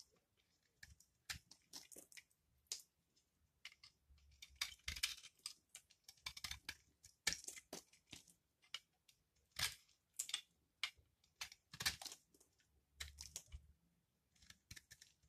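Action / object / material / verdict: scrape / laundry soap bar and metal blade / soap / none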